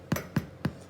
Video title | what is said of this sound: stay home reading rush - weekend reading challenge 004🌊💜 | when you tap on the bottom it does sound Hollow